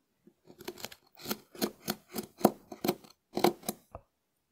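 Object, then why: Dried konjac sponge scraped with a wooden spoon. A small wooden spoon scratches a hard, hand-sized dried konjac sponge held in the hand. It makes a series of short, dry, crackly scrapes with a bright, crisp edge. The strokes come in uneven bursts, about one per second.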